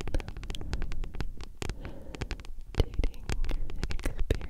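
A thick, solid paperback book with a glossy card cover is tapped and scratched with long nails. Quick, dry taps come in a rapid, uneven stream over low, rumbling scratching, with short bright clicks and no ring.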